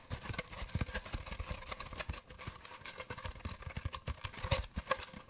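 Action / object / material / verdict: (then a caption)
tap / cardboard paper towel tube / cardboard / none. Fingertips tap and rub an empty, hollow brown cardboard paper towel roll tube while it is held and moved close to the microphone. Rapid, soft, dull taps with low thumps and a faint hollow ring mix with dry papery scratching and rustling. Each tap dies away almost instantly.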